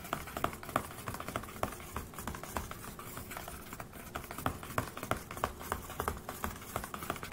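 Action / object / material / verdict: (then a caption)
tap / closed laptop with a thin metal lid / metal / none. One hand taps and scratches the flat, thin, silver metal lid of a closed HP laptop over its hollow body, using fingertips and nails. Quick, dry, irregular taps with a bright click give way to soft scratchy rustling between them, and each tap dies out almost at once.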